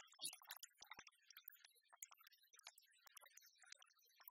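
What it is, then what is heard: Oversized metal penny replica. A large, solid metal, copper-coloured replica of a penny is tapped with fingernails while lying on a wooden table, then held up and tapped and scratched across its portrait face. Quiet, rapid, bright clicks and scratchy rustles follow one another with almost no ring and no low-end body.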